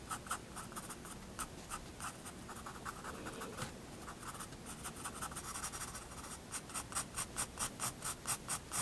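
A pencil tip draws fine details on a white drawing paper sheet in a paper sketchbook, making soft, bright scratching strokes. The strokes start irregular and sparse, then settle into a quicker, steady run of short, high scratches near the end.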